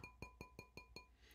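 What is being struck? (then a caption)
Ceramic bowl. An oven-safe ceramic bowl, not plastic, is tapped six times, since it has to withstand heating to 200 degrees Fahrenheit. Each tap gives a short, bright ring with a clear high tone near 2.4 kHz that fades quickly.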